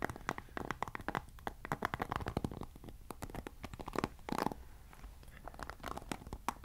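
Fingertips scratch and strum the white-tipped bristles of a black plastic paddle hairbrush, making a dense run of quick, dry scratchy plucks and crackly brushing. The sound is soft, with many short, sharp ticks that die away almost instantly over a brief rustling bed, mostly in the mid range around 1 kHz with little high brightness. A louder, denser scratching burst comes near the middle before it settles back to lighter strums.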